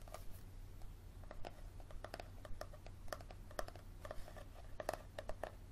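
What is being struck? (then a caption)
Paperback book spine. Fingernails tap and scratch along the leathery spine of a yellow paperback book held spine up. Quiet, irregular dry clicks and brief scrapes with a mid-range tone, each dying away almost instantly, sit over a steady low hum.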